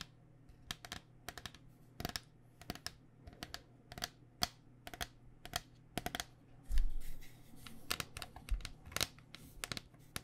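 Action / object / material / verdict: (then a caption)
tap / plastic-shelled foam cycling helmet / plastic / none. Long dark nails tap rapidly on a hollow white cycling helmet with a plastic shell over foam, making short, sharp clicks with bright edges. The taps come in quick, irregular bursts over a faint steady low hum, with a louder, denser rustling cluster around the middle of the clip.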